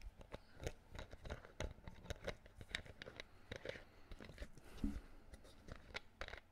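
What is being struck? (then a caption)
Plastic bottle screw cap. Fingertips twist and click the green plastic screw cap of a clear plastic water bottle held close to the mic. A quiet, steady run of short dry clicks, ticks and crackles with soft scraping between them, each snap dying away almost instantly. The sound has a low body under bright, crisp edges, with one louder click near the end.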